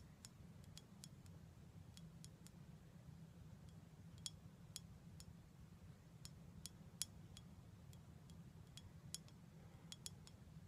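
Long black nails tap the side of a small glass bottle full of dark syrup, labeled and capped with a gold foil top, held in the hands. A quick, irregular run of light, bright clicks rings very briefly over a steady low hum.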